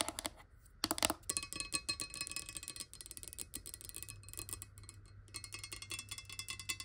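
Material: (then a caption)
Glass. A clear glass water bottle, partly filled with water and lying near the table, is tapped quickly with long nail tips. The result is a rapid, uneven stream of bright, clicky taps that die away almost instantly, with a faint glassy ring pitched around 630 Hz.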